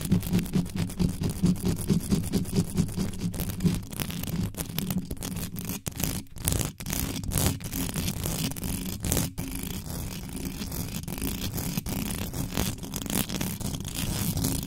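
Long white acrylic nails scratch fast across the bare hollow metal mesh grille of a large black desktop microphone with no foam cover. Rapid, uneven scratching strokes produce a dense, bassy rumble with a low hum around 156 Hz, with sharp crackling clicks scattered through the whole clip.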